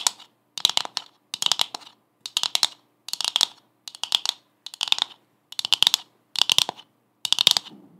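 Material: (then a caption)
Coconut shell. Long acrylic nails tap and scratch a hollow brown coconut shell half with a fibrous surface. Ten short bursts of rapid, dry, bright clicking follow one another, each dying instantly with no ring.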